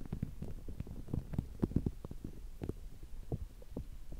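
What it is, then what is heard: Rubber spiky sensory ball. A small, soft, palm-sized green spiky rubber massage ball is held in both hands close to the microphone while fingertips and nails scratch and squeeze its spikes. The result is a dense run of soft, low, muffled thumps and rubbery rustles, with brief sharper taps standing out among them.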